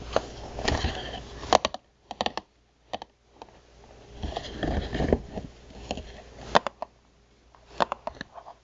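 Long nails tap and scratch the face of a printed cardboard box of water crackers, hollow and standing on its long side. Dry scraping passages alternate with sharp, quick-fading taps and pauses between bursts.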